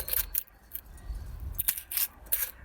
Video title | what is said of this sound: Discovering your soil type | i think there's definitely some sand there it's very crunchy